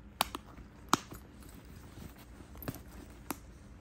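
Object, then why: Quilted faux leather handbag. A medium pink quilted faux leather Guess handbag, hollow and soft-sided with a gold metal chain strap, sits on a bed while fingertips and nails tap and rub its front flap and quilted panels. Several sharp, dry, bright taps stand out over a faint, soft rubbing texture, each dying away almost instantly.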